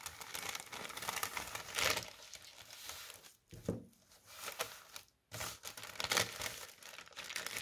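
A thin white tissue paper sheet is first held up in both hands, then laid flat on a table and tapped and scratched with the fingertips. The result is a bright, dense crinkling and rustling with little low end, centered around 2 kHz. It swells louder near 2 and 6 seconds and drops into brief near-silent gaps around 3.5 and 5 seconds.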